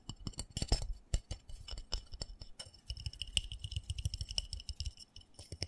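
Fingertips and nails tap rapidly on the side and bottom of a small black textured plastic flower pot holding soil and a cactus. The taps are quick and dry, with soft low thumps and bright clicky ticks that die away almost instantly. In the second half the tapping turns steadier and faster, with a faint ringing edge near 2.9 kHz.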